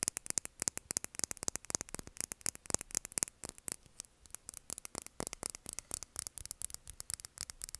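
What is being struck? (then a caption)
Small filled plastic lip gloss tube. A small, clear, filled plastic lip gloss tube is held upright and tapped and scratched with long nails. The result is a rapid, uneven stream of sharp, bright clicks and scratches with almost no ring, over a faint low hum.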